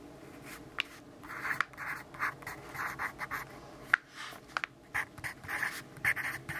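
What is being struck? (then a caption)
Graphite pencil on notebook paper. A graphite pencil writes and scribbles on the page of an open grid-paper notebook. Bursts of dry, scratchy graphite-on-paper strokes sit mostly in the mid and bright range, broken by a few sharp, quick clicks as the tip catches the page. The strokes come in uneven, short bursts against a quiet background.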